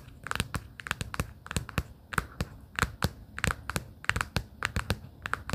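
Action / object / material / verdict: tap / cardboard folder tapped with fingernails / cardboard / none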